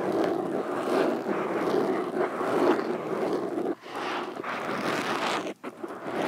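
Metal fingerpicks worn on all fingers tap and scratch across a black foam windscreen over a microphone. The result is a dense, continuous scratchy rustle centered in the midrange, broken by two brief near-silent gaps.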